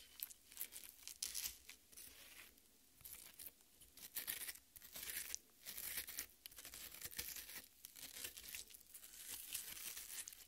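Long red nails dig into and scratch the juicy red flesh of a half watermelon. Soft, bright, wet tearing and crunching scrapes come in repeated bursts with short pauses between. The overall level stays quiet.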